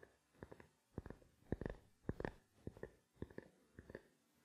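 A small, black, hollow plastic camera lens cap held in the palm is tapped with fingertips and nails. The result is quiet clusters of quick, dull, hollow clicks, bunched in bursts with short pauses between. Each tap is weighted toward the low end and dies away almost at once.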